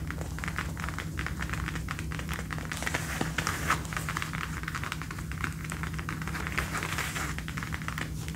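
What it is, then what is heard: Faux leather jacket. Fingertips and nails tap and scratch the shoulder and upper arm of a dark brown faux leather jacket being worn, with arms crossed. Rapid, soft taps mix with dry, crinkly scratching over a steady low hum, with a few slightly louder taps standing out.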